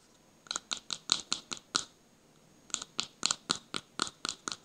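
A small plastic cosmetic jar with a pink plastic lid, held in one hand close to the microphone, is tapped and scratched with fingertips and short nails. Quick, bright, crisp scratchy taps come in a run of seven, then a pause of about a second, then a run of eight more, each dying away almost at once.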